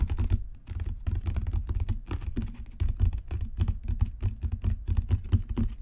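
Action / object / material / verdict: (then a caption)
tap / leather-bound book cover / leather / none. Rapid fingertip and nail tapping on a solid, dark brown genuine leather book cover makes a dense, continuous patter of dull, low thumps. Faint crisp clicks ride on top, and each tap dies away almost instantly with no ring.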